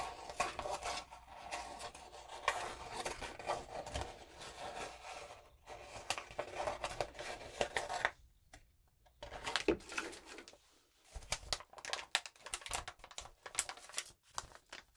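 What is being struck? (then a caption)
Crumpled sheet of notebook paper. A single sheet of crumpled lined notebook paper is held up and crinkled with fingers and long nails. Dense, bright crackling and rustling runs through the clip, breaking into short pauses around 8 to 9 seconds and again near 11 seconds before resuming in quick bursts.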